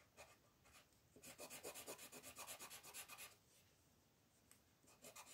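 A green colored pencil colors in the eyes on a flat paper coloring sheet lying on a table, with a hand with yellow nails holding the paper. It makes a soft, bright, scratchy rubbing of small strokes. A few light strokes come first, then a quick rhythmic burst of back-and-forth strokes, a quiet pause, and a few more strokes at the end.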